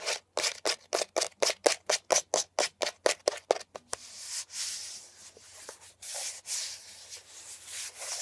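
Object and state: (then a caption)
Plastic air freshener dispenser housing. Long nails rub and scratch the textured surface of a beige, hollow plastic air freshener dispenser housing with leaf cutouts, lying on its side on a blanket. Eighteen quick, bright, dry scrapes come in a steady run, then give way to softer, continuous hissing scratching.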